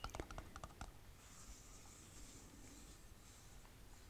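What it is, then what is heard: Glass jam jar with metal lid. Long painted fingernails tap quickly on the metal lid of a full glass jam jar, giving six sharp clicks in the first second. They then scratch along the lid and the glass side of the jar in a soft, steady hiss for the remaining three seconds.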